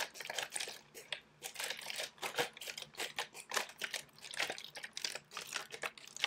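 A thin, clear plastic drinking water bottle with a blue label, hollow and held in one hand, is crinkled, squeezed and shaken by fingertips with long pink nails. It produces a dense run of quick, bright, crackling crinkles and snaps with no low end, each burst dying out almost instantly.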